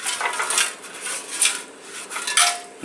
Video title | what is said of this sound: Gas Tank Cleaning On The Scooter | you hear that? There's stuff in here.